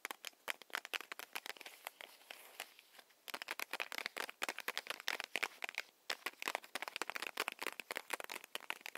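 A small, solid, paper-wrapped Hi-Chew candy stick is held in both hands and tapped with long nails, making quick, bright clicking taps with some light crinkling of the wrapper. The taps come in dense, irregular bursts with brief pauses between them and no low end.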